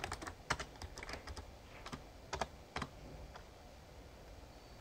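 Fingertips type on the keys of a full-size backlit plastic Razer Ornata Chroma mecha-membrane gaming keyboard. About fifteen soft, short clicks and taps come at an irregular pace, with a few louder key strikes standing out. The keystrokes have a dull low thump and a light bright click over a quiet background.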